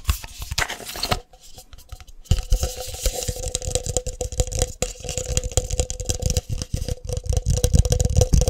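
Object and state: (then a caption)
Plastic coffee jar tapped. A medium cylindrical plastic instant coffee jar with a label is held in both hands and tapped quickly on its sides with fingertips and nails. Rapid, dry tapping mixes low hollow thumps with bright clicky nail strikes, and a faint steady mid-pitched tone sits underneath. The tapping eases into a quieter stretch after the first second, then returns denser and louder for the rest of the clip.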